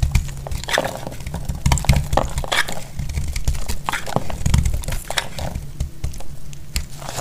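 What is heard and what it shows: A metal utility blade shaves and cuts a dry, solid orange bar of soap held in the hand, breaking it into crumbly flakes. Dense crackling and crunching scrapes overlap continuously, with a heavy low rumble beneath brief bright clicks.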